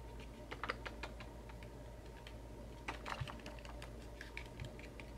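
Fingertips and short nails tap and scratch a small, hollow, white-and-pink printed cardboard macaron box filled with loose metal bottle caps. Quick, dry clicks and soft scratches come in two busier clusters, one near the start and one around the middle, with quieter scattered taps in between. A steady low hum runs underneath throughout.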